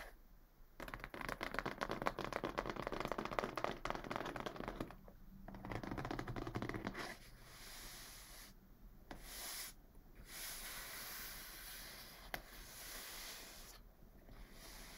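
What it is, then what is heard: Cardboard box. Flat palms and fingers rub across the top and sides of a medium, closed, brown corrugated cardboard box. The first half is a dense, scratchy rustle with rapid, uneven strokes; it then gives way to softer, airy swishes separated by brief pauses, with one sharp tick near the end.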